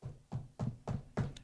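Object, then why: Wooden desk or tabletop. Someone knocks on a wooden surface for luck, giving five evenly spaced, dull knocks about a third of a second apart. Each knock is a short, low thud that dies away quickly.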